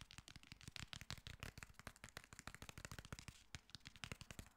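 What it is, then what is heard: Hardcover paper book. Fingernails tap and scratch the cover and spine of a solid black hardcover paper book, *The Girl on the Train*, held upright. The result is a rapid, steady run of short, dry clicks and taps with a low thump beneath. Soft scratchy rustles fill the gaps between the taps.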